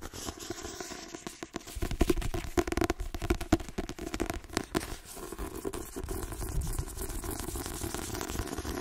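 A solid white paperback book with a glossy card cover is tapped rapidly by fingernails on its cover and spine edge. The result is a dense stream of short, dry clicks and scratchy taps with a low, thumpy body, busiest and loudest in the middle before settling into a steadier patter.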